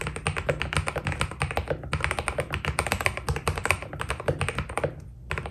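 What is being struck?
Mechanical keyboard with PBT plastic keycaps.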